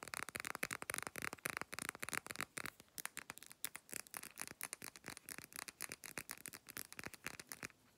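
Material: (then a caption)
Glass. Long black nails tap and scratch quickly along the sides of a Blackmores amber glass supplement bottle with a paper label, held up in the air. About forty short, bright clicks and scrapes come in a rapid run with almost no low end and no ringing after each hit, then stop just before the end.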